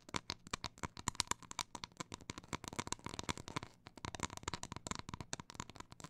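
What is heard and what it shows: Long black nails scratch and tap the reverse side of a solid, flat, round cork coaster held in both hands; its face is covered with a printed paper layer showing text and a sand dollar. A quick, uneven run of dry, bright clicks and taps with short scratchy strokes is heard, each dying out almost instantly, with a faint tonal edge near 1 kHz.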